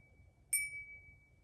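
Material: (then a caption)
Crystal. A thrifted tulip-patterned glass tea light holder, held at the bottom, is flicked once and gives a bright, clear ring at about 2.3 kHz that sustains for around a second before fading. The ringing tone marks it as real crystal, and it was judged most likely real crystal.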